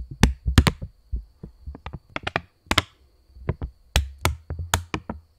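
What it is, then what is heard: Polymer banknote tapped and flexed. Fingers bend and flex a £20 polymer plastic banknote close to the mic, with fingertips tapping it and snapping it. The result is a quick, irregular series of short, dry taps and sharp snaps, each with a low thump underneath and a bright crackle on top. The sounds die away almost instantly.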